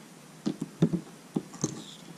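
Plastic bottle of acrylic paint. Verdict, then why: Thick. A bottle of regular acrylic paint in charred brown, thicker in consistency than airbrush paint, is shaken. It gives a series of short, dull, low-pitched knocks and sloshes.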